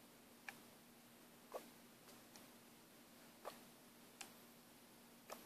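A plastic paint bottle with a mixing ball inside is shaken and turned by hand, and the ball knocks against the walls in six sharp, irregularly spaced ticks with short, bright clicks that die away quickly. A faint steady low hum and soft hiss run underneath.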